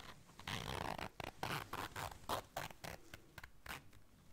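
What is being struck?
Small fabric zipper case.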